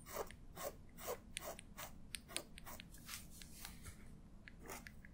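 A black feather quill pen with a metal nib, held in the fingertips, is drawn across the page of an open paper sketchbook lying flat on a table while the other hand rests on the page. The nib gives a quick, irregular series of short, dry, scratchy strokes with a crisp high hiss as it lays down ink. The scratching is quiet and close, over a low background rumble.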